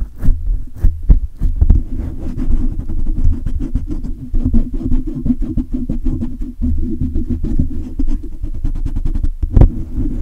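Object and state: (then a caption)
Metal mesh microphone grille being rubbed. Fingertips rub and scratch fast and hard across the hollow metal mesh grille of a silver condenser microphone. The result is a dense, boomy run of low thumps and scraping rumbles, broken by a few sharp, louder knocks that flash briefly bright.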